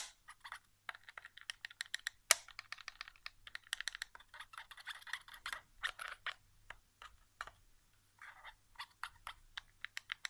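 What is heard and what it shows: Fingertips tap and drum on the back casing and triggers of a white plastic PS4 controller lying face down on carpet, its hollow shell giving off quick, dry clicks. The taps come in irregular bursts and rapid runs, with one sharper, louder knock early on. Each sound is bright and light with almost no low end, and it dies away instantly.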